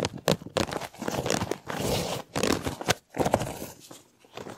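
A large, hollow, empty white plastic corrugated tube, slinky-like, is held in both hands with fingertips and short nails, then stretched out, bent and compressed in front of a microphone. Its plastic ridges rub against each other in bursts of dry, broadband crackling and crinkling, with short pauses between movements.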